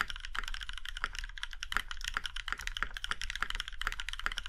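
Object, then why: Mechanical keyboard with aluminium case. Fingertips of both hands type steadily on a compact Iron165 mechanical keyboard with a plum-red aluminum case and black keycaps. The rapid, short clacks have a bright click centered around 1.4 kHz and die away almost instantly. A steady low rumble sits underneath the keystrokes.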